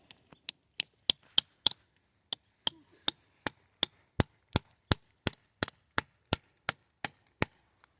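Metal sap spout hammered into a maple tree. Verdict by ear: Tight.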